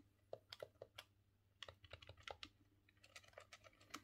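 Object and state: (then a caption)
Plastic game controller. A thumb works the analog stick and presses the buttons on a green, hollow plastic N64 controller, producing a quick, irregular run of light plastic clicks. Each click is short and dry, with a hollow mid-range knock and a bright tick, over a faint, steady low hum.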